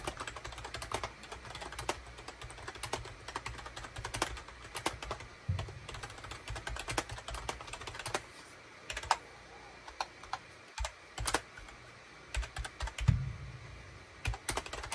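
Fingertips type rapidly on a full-size gray and cream SHIPADOO K600 wired USB plastic keyboard, with a hollow plastic case and keycaps, resting on a desk mat. A dense stream of short, crisp plastic clicks and clacks is heard over a low, hollow thump. There are a few brief pauses and occasional louder key strikes.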